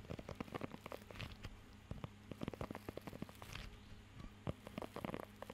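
Fingertips scratch and tap across the raised nubs of a blue rubber pet grooming glove held close to the microphone. Quiet, short, crackly taps and scratchy rustles come in an irregular patter over a steady low hum.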